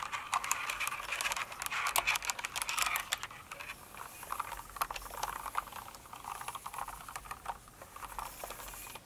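Long nails type on a full-size Cinnamoroll kawaii mechanical keyboard with plastic keycaps, producing quick, irregular, bright clacks with almost no low end. The tapping is busiest and loudest in the first three seconds, then continues in a softer, sparser patter.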